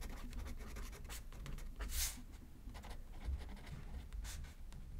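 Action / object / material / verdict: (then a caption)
scrape / paper card on a notepad / paper / none. A pen tip scratches across a thin, flat paper greeting card resting on a spiral notepad as a left-handed writer writes, the other hand holding the card still. Quiet, dry scratching strokes come in short bright bursts over a soft low rumble, with one louder stroke near the middle.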